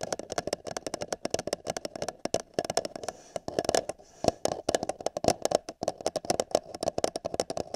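An empty, hollow paper cup is held over the ear of a binaural microphone while fingertips and nails tap and scratch its wall. The result is a fast, irregular run of crisp, dry taps with a hollow, boxy resonance in the mid range. Brief, bright scratchy crackles run between the taps, and each hit dies away almost instantly.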